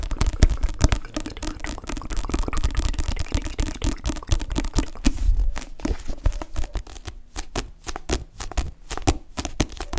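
Long nails and fingertips tap quickly on the glossy card back cover of a solid paperback book. The rapid, crisp ticks carry a soft, low, dull body and fade almost instantly. The tapping grows sparser and sharper toward the end over a faint low hum.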